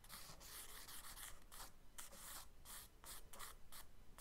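A charcoal stick held upright scratches short strokes on the page of a spiral-bound kraft paper sketchbook lying flat. The result is a series of quiet, dry, scratchy rasps with a bright hiss, separated by brief pauses.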